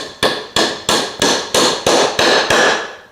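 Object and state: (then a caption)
Wooden wedge fully seated in tenon. A wooden wedge is tapped into a wedged wooden tenon on the knob joint of a Shaker chest of drawers, giving eight evenly spaced, sharp, ringing strikes with a bright tone near 1.7 kHz. The sharp sound of the strikes shows the wedge is fully seated and the joint is done.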